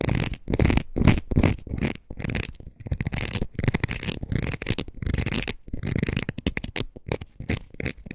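Long nails scratch across the ridged face of a red rubber wood-graining rocker. They make a rapid, irregular run of short, raspy strokes, heavy in low rumble with some bright texture. Brief gaps fall between the bursts.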